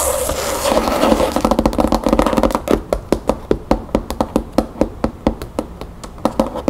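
Long natural nails scratch and tap rapidly on the front cover of a large, solid red cloth-covered hardcover book lying on a wooden table. A dense, papery scratching blur with a hollow tone around 500 Hz gives way to a steady run of distinct, short, dull taps that die away quickly.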